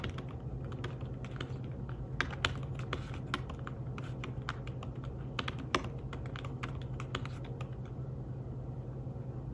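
Fingertips with short nails tap rapidly on a slim, fabric-covered tablet keyboard in the style of an iPad Smart Keyboard, resting thin and flat on a table rather than hollow. The keystrokes are soft, muted clicks with short, bright ticks, a few sharper than the rest, over a steady low hum.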